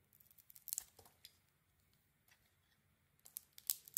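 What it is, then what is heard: Bar of soap being shaved. A metal blade shaves the coating off a solid red and silver striped bar of soap with a white core, held in hand. Crisp, bright scraping and crinkly cutting bursts cluster at the start, a quiet stretch follows, and another flurry of sharp shaves comes at the end.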